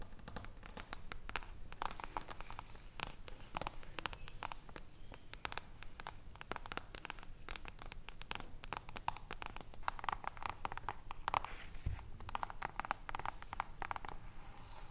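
Long nails tap and scratch the cover and edges of an upright hardcover book with a silver mirror-foil reflective cover. The result is a dense, steady stream of quick, crisp clicks and scratchy rustles with bright edges over a soft low rumble.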